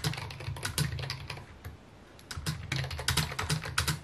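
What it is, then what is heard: Plastic computer keyboard. Fingertips tap rapidly on a full-size white and mint plastic computer keyboard with a hollow housing, resting on a wooden desk. Uneven bursts of short, dry key clicks carry a low hollow thock under bright clacking tops. The typing briefly slows to a near pause before picking back up.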